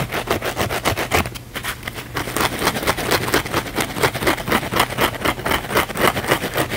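A small blue cellulose kitchen sponge with a scouring pad is held in one hand while the fingernails of the other hand scratch fast across the scouring-pad surface. The result is a rapid, uneven series of dry, bright scratching strokes, about four per second, over a faint low hum.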